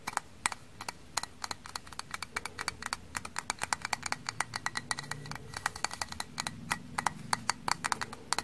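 Frozen kitchen sponges, frozen stiff, are tapped rapidly. Because of this they give quick, hard, bright clicks rather than soft sponge sounds. The clicks come in an irregular run of many short taps that die away almost at once, over a faint low background.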